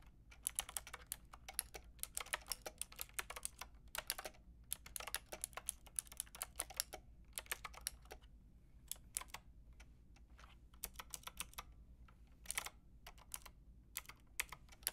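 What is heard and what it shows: Long painted nails and fingertips type on a white-and-pink Lofree mechanical keyboard with round plastic typewriter-style keycaps and a hollow plastic case. Bright, clicky keystrokes come in quick bursts with short pauses, including a sparser stretch in the middle. Each click stops almost instantly over a faint low background hum.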